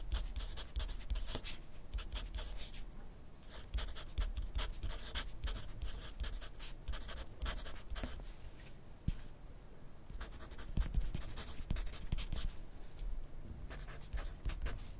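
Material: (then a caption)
Paper. A graphite pencil scratches across a thin lined paper notepad lying flat on a desk in continuous writing. Soft, bright scratching strokes come in bursts with brief pauses near 3, 9–10 and 13 seconds, under a faint low rumble throughout.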